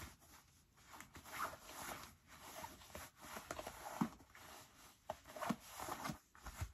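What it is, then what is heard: Denim jeans pocket being rubbed. Fingertips dig into the right front pocket of medium-wash cotton denim jeans and rub the denim, with the left pocket lining already pulled out. Quiet, scratchy fabric rustling swells and fades, broken by a few soft sharper scrapes and rubs.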